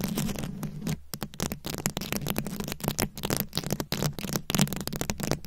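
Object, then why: Plastic rhinestone-covered microphone head. Very long acrylic nails scratch a round, fist-sized microphone head covered in plastic rhinestones and beads. The result is a dense stream of rapid, crackly scratching and clicking bursts with brief gaps, over a steady low hum.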